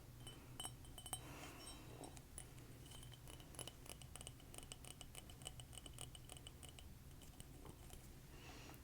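A ceramic mug with a frog print, a frog on the inside and a print on the handle, is tapped repeatedly with quick, light strikes. Each tap gives a bright, high-pitched ceramic click that dies away almost at once, over a steady low hum.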